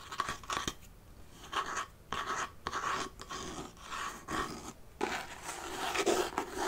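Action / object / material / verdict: tap / faux-leather-covered wooden mini chest with metal studs / faux leather / none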